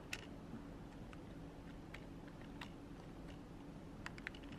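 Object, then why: Plastic computer keyboard. A long nail and fingertip press keys and tap the spacebar and edge of a black plastic full-size computer keyboard resting on a desk. Sparse, sharp, bright clicks and taps stand out at irregular intervals over a quiet, steady low hum.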